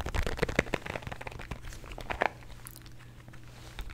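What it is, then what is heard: Plastic bottle of antacid tablets, partly filled. A small plastic bottle of calcium antacid tablets with a blue cap, partly filled with tablets, is tapped with nails and shaken. Quick, crisp clicks and crunchy rattles of the tablets come in fast bursts, loudest in the first half. The clip then settles into softer, sparse ticks over a low hum.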